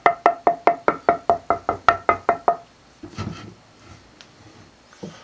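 A dense, hard northern ash guitar body blank is knocked in a rapid, even series of about a dozen taps. Each tap gives a bright, pitched knock around 1.3 kHz with a brief ring, followed by a few softer handling sounds. The wood rings and is hard and consistent, but its tap tone is poor compared with a lighter swamp ash body.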